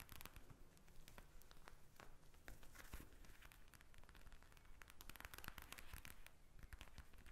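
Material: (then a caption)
Plastic. A pink eye mask with a plastic shell filled with gel beads lies flat on a glass table and is tapped and scratched with long red acrylic nails. Quick, dense crackling and crinkling taps with short scratchy rustles run continuously at a soft level, with a low thump underneath.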